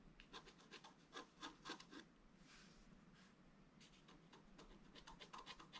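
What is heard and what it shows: A wooden stylus scratches fine lines into a flat, black-coated scratch art paper card lying on a table, tracing a gate design. Quick, bright, scratchy strokes come in a loose rhythm, pause for a softer, smoother scrape in the middle, then pick up again. The sound is quiet and dry, with little low end.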